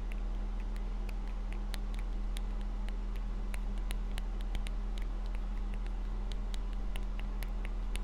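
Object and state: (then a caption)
Glass perfume bottle. A small, round, clear glass perfume bottle with a metal atomizer neck and a black rubber bulb, hollow and apparently empty, is held in one hand and tapped on its glass body with fingertips and nails. Light, bright, irregular ticks patter over a steady low hum.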